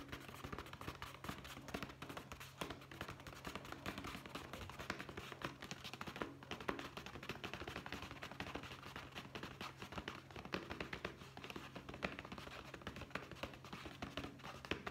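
Fingertips tap rapidly and continuously on the side of a hollow brown leather zippered pouch held in one hand, producing a dense stream of soft, dry, short taps. A faint, steady low hum runs beneath the tapping throughout.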